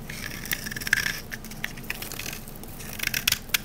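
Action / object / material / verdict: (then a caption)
scrape / bar of olive oil soap / soap / none. A rectangular, solid green olive-oil bar soap held in the hand is scraped with a metal knife blade, peeling off dry shavings. The sound is a steady, bright, crunchy scraping, punctuated by sharp, high crackling ticks.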